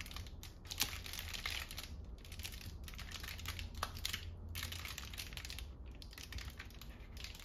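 Long painted nails tap, scratch and squeeze a large, hollow, red-and-white polka-dot paper lantern shaped like a mushroom, with a ribbed paper body. The result is a dense run of quick, bright crinkling and scratchy taps over a steady low hum.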